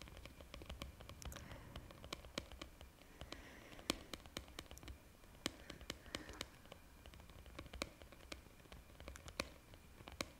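Long painted nails tap and scratch a green plastic lid on a white plastic jar held close to the mic. Quiet, irregular, sharp bright clicks with almost no ring are scattered through the clip over a soft, hissy scratching texture.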